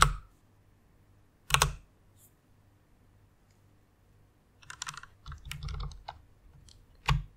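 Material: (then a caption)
Plastic. Long-nailed fingers press single keys on a white plastic rainbow mechanical keyboard. Sharp, bright plastic clacks with a low thock come at first as isolated presses with quiet gaps, then as a quicker, uneven burst of keystrokes, ending on one more firm clack.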